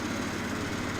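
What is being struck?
Nothing is struck.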